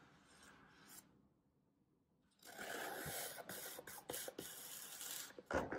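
A small knife slices vertical cuts through a solid green floral foam brick held flat by one hand. A soft rasp and a near-silent pause give way to a dense, bright, crunchy scraping as the blade draws through the foam in a series of strokes.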